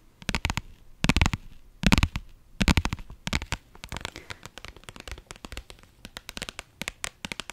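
A medium-sized, soft-sided pink iridescent faux-leather (vinyl/PU) zippered pouch is held in both hands close to the mic and scratched and tapped with long nails. Quick clusters of crisp, bright clicks and scratchy rasps come over a soft low thump, loudest in the first few bursts. They then settle into a steadier run of lighter, evenly spaced taps.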